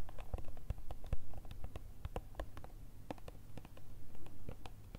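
Long red nails tap and scratch a small ribbed clear plastic jar with a plastic lid, filled with green-blue gel beads. The result is a rapid, uneven series of light, dry clicks with brief scratchy strokes over a faint low rumble, each tap dying away almost instantly.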